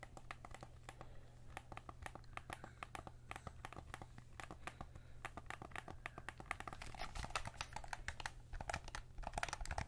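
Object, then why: Plastic game controller. A white PS5 DualSense controller, a hollow plastic shell held in both hands, is handled as fingertips work the thumbsticks and buttons, then rub and tap along the side of the shell. Rapid, sharp plastic clicks and ticks come in dense bursts that die away almost instantly, growing louder toward the end. A steady low hum runs underneath.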